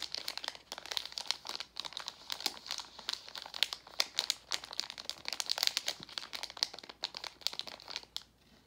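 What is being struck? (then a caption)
Metallized plastic candy bag. A gold Werther's Original metallized foil-plastic candy bag, partly full of hard candies, is held and crinkled with the fingers. It makes a dense run of sharp, bright crackles and crinkles with almost no low end. The sound fades to near silence just before the end.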